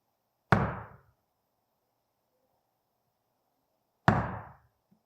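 During a Zen dharma talk, a monk knocks twice on a table, a few seconds apart, to demonstrate the sound of an instant. Each knock is a sharp, dull thud with a strong low body, lasting well under a second before fading into near-silence.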